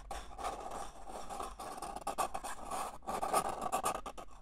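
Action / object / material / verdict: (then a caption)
scrape / disposable paper cup / paper / none. Fingers scratch and rub the outer wall near the rim of a single small, hollow, empty red-and-white disposable paper cup held in the hand. The result is a dry, papery rasping that comes in uneven bursts with brief pauses, centered in the midrange with a bright, hissy edge. A faint low hum runs underneath.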